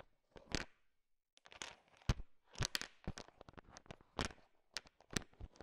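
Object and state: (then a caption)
Candy-coated chocolates stirred in a pile. A thin wooden stick stirs a large pile of small, solid, sugar-shell-coated chocolate M&Ms. The candies click and rattle against each other in quiet, crunchy bursts with bright edges and no ringing.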